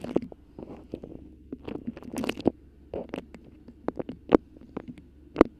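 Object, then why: Beeswax-coated cotton wrap. A colorful beeswax-coated cotton food wrap bunched around a microphone is squeezed and scratched with long pink acrylic nails. Close, irregular crinkling and crackling rustle against a soft background, broken by sharp, bright clicks and snaps that cut off instantly.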